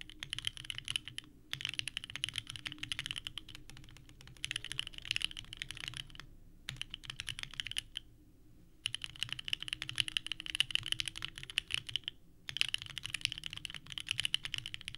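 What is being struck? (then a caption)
Mechanical keyboard with plastic ABS keycaps. Both hands type continuously with their fingertips on a small 65% mechanical keyboard with a purple case and white ABS keycaps, resting on a desk mat. Dense, clacky key presses ring bright around 3 kHz, with brief pauses between bursts of typing.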